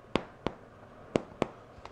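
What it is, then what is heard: Hollow-sounding, fully baked baguette. The bottom of a home-made baguette, baked at 425 for 20 minutes, is thumped to check that it is done. Five short, dry, hollow-sounding knocks are heard, the last one fainter, each dying away almost instantly. The loaf sounds hollow, which means it is baked through.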